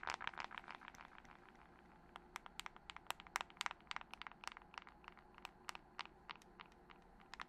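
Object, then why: Glass and metal smartphone. Long nails tap and scratch rapidly on a dark glass and metal smartphone with a glass screen, held upright and then horizontally, with rings on the fingers. Sharp, bright clicks come fast and dense at first, then thin into quieter, irregular taps over a faint scratching hiss.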